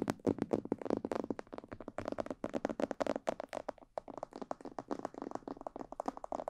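Long painted nails tap rapidly on the sides, ears and cheeks of a hollow, glossy black plastic mannequin head microphone. The result is a quick, uneven stream of short, dry taps with a hollow, mid-pitched body and almost no ring, with only a brief pause near the four-second mark.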